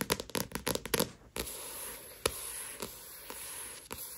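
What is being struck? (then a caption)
Paperback book with glossy paper cover. Long nails tap and scratch the glossy paper cover of a solid paperback manga volume of Tokyo Ghoul lying flat. A quick run of crisp taps is followed by a soft, steady bright scratching hiss, punctuated by a few single sharp taps.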